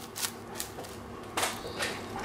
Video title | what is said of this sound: Une recette avec vous - Gougères au fromage | ils sont très très aéré si vous entendez ils sont vraiment bien croustillant